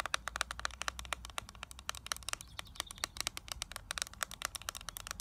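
Long nails tap and scratch the clear plastic lid of a small, flat eyeshadow palette with a gold plastic frame, held in the hands. About forty quick, dry clicks come in an uneven stream, each short and bright with almost no ring, over a faint low hum that fades after the first second.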